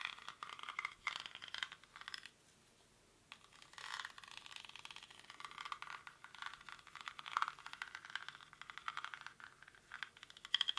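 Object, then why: Woven rattan basket. Fingernails scratch and tap quickly across the weave of a hollow, cylindrical woven rattan or reed basket held in both hands. The result is a dense, dry, crackling scrape-and-rattle, bright and thin with no low end, broken by a brief silence about two seconds in before the scratching resumes.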